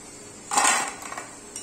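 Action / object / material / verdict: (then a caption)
drop / fried potato pieces on a plate / potato / crispy. Golden deep-fried potato pieces are put onto a plate, making a bright burst of crisp clinking and rattling with a few lighter clicks after it. The sound shows they are crispy and fried through.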